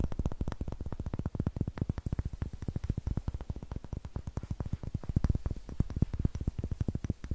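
A solid light wooden cube with darker brown and rough green faces is held in both hands and tapped and scratched with long nails. A quick, steady stream of short, dry, low-pitched knocks sounds with almost no ring, mixed with faint scratchy texture.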